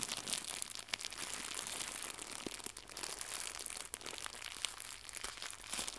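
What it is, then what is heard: Plastic gift bow. Fingertips with red nails squeeze and crumple a small, white, crinkly plastic gift bow. The result is a dense, continuous, bright crinkling and crackling with little low end, and sharp snaps poke out throughout.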